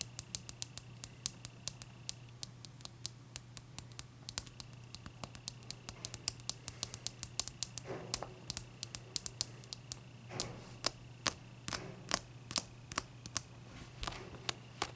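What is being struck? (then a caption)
Large block of clear ice tapped with fingernails. Long dark nails tap and scratch the front face of a large, clear, solid ice block resting on a towel. Dozens of quick, sharp, bright clicks come in irregular bursts, with a few softer scraping swells. A steady low hum runs underneath the whole time.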